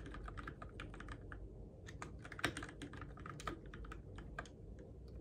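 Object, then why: Mechanical keyboard with plastic keycaps. Fingertips type on the plastic keycaps of a Keychron K6 compact RGB-backlit mechanical keyboard in the dark. A quick, uneven run of short, sharp clicks and clacks carries bright key transients over a steady low rumble, with a few louder presses standing out.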